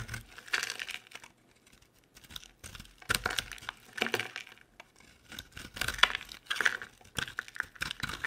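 A utility knife blade scrapes and shaves dry flakes from a hand-sized, solid, oval pink soap bar with round holes. Short, crisp bursts of dry crackling and scraping come in uneven strokes with brief pauses between them. The sound is bright and thin, with almost no low end.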